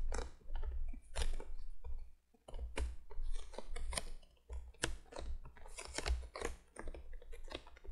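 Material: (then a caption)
Cardboard. Long fingernails on both hands tap quickly on the top of a printed cardboard box lying flat. The taps come as crisp, bright, papery clicks in uneven flurries over a steady low hum, with brief pauses between bursts.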